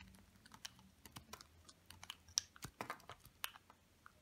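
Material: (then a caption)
Soap. A small metal blade scrapes and carves thin flakes off a small, hard, dry bar of pale lavender olive-oil soap held in one hand, building a pile of shavings below. It makes a quick series of crisp, dry, bright clicks and scratchy snaps over quiet background hiss. Each snap cuts off almost instantly with no ring.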